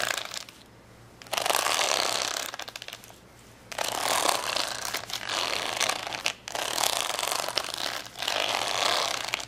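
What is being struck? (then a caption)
Plastic rhinestone sticker sheet. Fingernails scratch and tap along the gem rows on the side of a plastic rhinestone sticker sheet folded into a layered stack on a towel. Bursts of bright, crunchy, rapid clicking and scraping come in several long stretches, separated by short quiet pauses with a faint low hum underneath.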